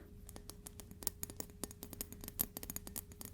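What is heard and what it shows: A metal ruler is tapped repeatedly, giving a quick run of soft, sharp ticks with bright high-frequency clicks and almost no ring. A faint steady hum sits underneath. It sounds slightly different from a wooden ruler tapped the same way.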